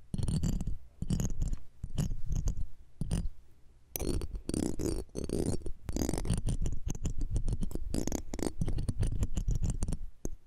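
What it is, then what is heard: Metal microphone grille being scratched. A metal pick and tweezer tips scratch and tap the metal mesh grille of the left one of a pair of small cylindrical microphones. Bursts of dense, close scratching and rapid tapping come through as heavy low rumbling thumps, with faint bright crackle over the top. Short pauses separate the bursts.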